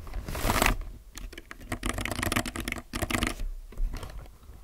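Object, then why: Mechanical keyboard with plastic keycaps. A low-profile mechanical keyboard with plastic keycaps is typed fast with the fingertips of both hands. A short broadband rustle opens the clip, then comes a dense run of quick, sharp clicks with a low thock under bright, clacky tops. The keys come in bursts, with brief pauses between the flurries.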